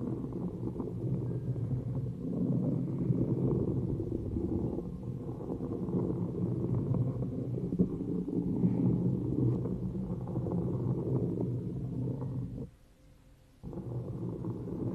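A round, thin cork coaster resting on an upside-down plastic cup is scratched with long nails and fingertips. The result is a dense, muffled, low rumbling scrape that runs almost continuously, breaks off into near silence for about a second just before the end, and then resumes.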